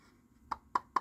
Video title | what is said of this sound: Incredible live unboxing! | Yeah, the infill on the back is a little loose, too.